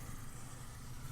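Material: Nothing is struck.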